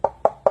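A lightweight decorative pumpkin made of different colored wood pieces, with burlap and metal leaves, is knocked three times. Each knock is a short, hollow, woody tap centered around 600 Hz that dies away almost at once, and the pumpkin sounds hollow, fitting how surprisingly light it is.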